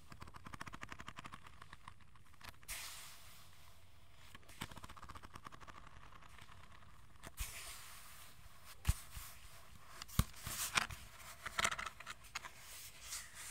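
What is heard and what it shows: A hollow plastic aroma diffuser shifting color is held in both hands close to the mic while fingertips and nails tap and scratch its surface. Quick dry clicks and soft scratching run over a low, steady hum, with a few sharper taps standing out near the end.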